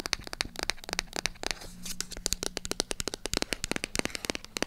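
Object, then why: Small cardboard box tapped and scratched with long nails. Long acrylic nails tap and scratch the sides of a small, hollow white cardboard product box. A rapid run of sharp, bright clicks is briefly interrupted by a soft, breathy scratch. Each tap dies away almost instantly, over a faint low hum.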